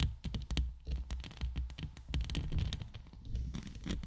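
Long acrylic nails scratch and tap from both sides on the hollow woven steel mesh grille of a large condenser microphone with a rhinestone band at its base. A dense run of quick, crackly scratches and sharp taps rides over a heavy, booming low rumble, each tap dying away almost at once.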